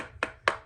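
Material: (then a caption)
Metal. A metal paint can full of paint is tapped twice after being stirred about 50 times, giving two short, bright knocks around 1.1 kHz that die away quickly. The sound shows the can is well stirred, with the settled paint mixed up from the bottom.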